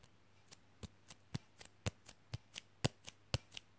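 A thin, flexible red Coca-Cola printed fridge magnet, held in one hand, is tapped with the fingernails of the other hand. Thirteen quick, dry clicks come at a steady pace of about two per second, each a short, bright tick with a soft low thump underneath and almost no ring.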